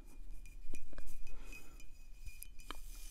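Long acrylic nails tap a full, full-size dark glass wine bottle held close, around its paper label. Light, irregular clicks and clinks with short bright glassy edges decay almost at once over a faint steady hum and low rumble.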